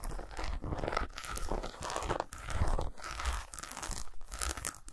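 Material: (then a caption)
Chocolate. Fingernails scratch across the squares and grooves of a solid milk chocolate bar lying on a towel, mixed with fast tapping. The sound is a dense, continuous crunchy scraping with a heavy low thump underneath, coming in bursts separated by brief dips.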